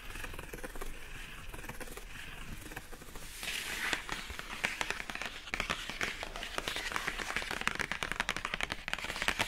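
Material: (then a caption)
Cardboard. Long acrylic nails on both hands tap quickly across the lid of a hollow, pink-printed rigid cardboard product box with a rope handle, packaging for a Divoom Times Gate. The first few seconds bring soft, muffled tapping; after about 3.5 seconds it turns into denser, brighter, crisp clicks with short, dry hollow knocks.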